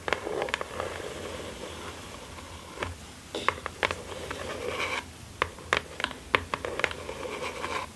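A small, closed, hollow kraft cardboard mailer box lies flat on satin fabric and is scratched and tapped with long acrylic nails by both hands wearing rings. Dry, papery scratching rasps across the surface, broken by sharp, bright taps that stop almost instantly, over a faint low hum.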